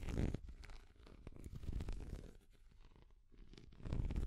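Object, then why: Small hard plastic cat figure. A small translucent orange hard plastic cat figure is held near the microphone and tapped and scratched with long nails. The result is a dense, low, rumbling scratch with quick clicky taps, louder at the start and end and quieter in the middle.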